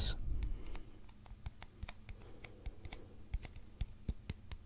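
A long, hollow, empty brown cardboard mailing tube is held upright in both hands and tapped and scratched with fingertips and nails. A louder rustling scratch opens the clip, followed by an uneven, fairly quick series of soft, deep, hollow thuds with faint bright clicks on top, each dying away almost at once.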